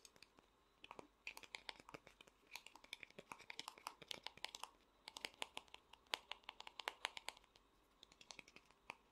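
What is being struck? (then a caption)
Small vinyl figure. Fingernails tap rapidly on the back and front of the large head of a small, hollow vinyl Funko Pop figure. The result is a quick, uneven run of sharp, dry clicks with a bright, hollow edge and almost no ring, broken by short pauses.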